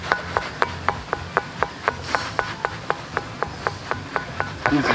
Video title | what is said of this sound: Situs Megalitikum Gunung Padang - Pusat Peradaban Dunia Ada Disini??? | karena sekarang lagi hujan jadi batunya basah makanya suara yang dihasilkan pun tidak nyaring